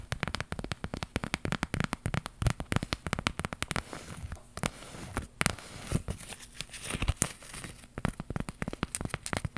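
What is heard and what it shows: Long pink nails scratch and tap a small, flat embroidered iron-on flower patch of stitched thread on fabric, held up in both hands. The result is a dense run of quick, dry, crackly clicks and scratchy rasps with a soft low thump under each tap. Every sound stops at once with no ring.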